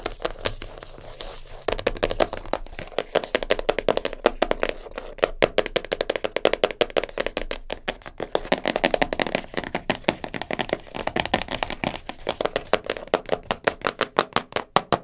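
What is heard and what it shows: A small black cardboard jigsaw puzzle box holding pieces is tapped and scratched with long nails on its top and sides. Quick, dry taps with almost no ring come in dense, rapid runs, mixed with scratching, and have a hollow papery tone centered in the low midrange with some bright edge.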